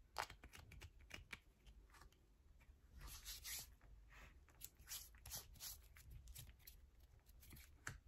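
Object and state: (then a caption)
Bar soap being scratched. Long nails scratch and tap the side and surface of a yellow bar of soap with a hole in it, and crumbs pile up on a purple mat. Quick, dry, crumbly scrapes and sharp clicks come in rapid bursts, bright and quiet, with short, crisp decays.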